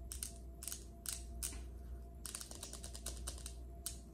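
Long acrylic nail tips on both hands tap a large, solid, polished speckled granite countertop. Quick, bright clicks come in short bursts, with a denser flurry in the middle, over a steady low hum.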